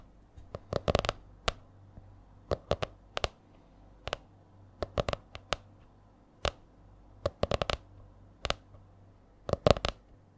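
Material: Laminated board.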